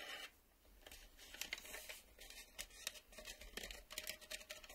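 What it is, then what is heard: Plastic VHS video cassette. A black plastic VHS video cassette, a hollow shell with clear reel windows, is held in both hands and tapped and scratched along its edges and face with fingertips and nails, while its cardboard sleeve lies untouched nearby. The result is a quiet, bright stream of dry clicks and scratchy scrapes, centred around 3.7 kHz, with very little low end. Each tap dies away almost instantly.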